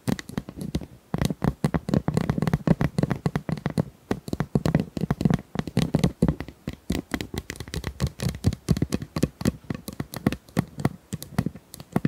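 Small plastic ice cubes are tapped and handled in a steady, rapid stream of short, dry clicks and light clacks. The taps die away almost instantly, with most of their weight in a low, hollow body and little bright edge.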